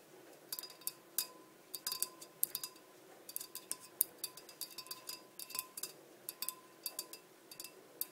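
Long nails tap quickly and irregularly on the sides of a large, clear, empty glass blender jar with measurement markings, sitting on a black base. Each tap is a quiet, bright, sharp click that dies away almost instantly, over a faint steady tone near 1 kHz and low background hiss.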